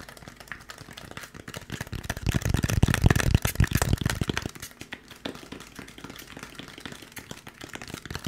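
Fingertips rapidly tap and scratch a white expanded polystyrene foam packaging block with molded recesses, which is held close to the mic and moved around. The result is a fast, uneven run of dry, low-heavy thuds and crinkly scrapes with almost no ring. It swells loudest in the middle of the clip, then falls back to quieter, lighter tapping.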